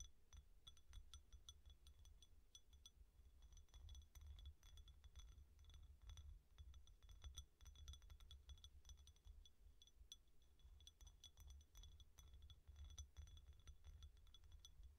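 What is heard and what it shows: A medium white ceramic bowl, hollow and partly filled with dry lentils, is held at the sides with both hands while long dark-painted nails tap and scratch its outer wall. Rapid, bright glassy clicks and clinks with very short ring run steadily over a constant low rumble that carries most of the quiet level.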